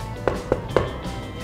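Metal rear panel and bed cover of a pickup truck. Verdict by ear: Hollow.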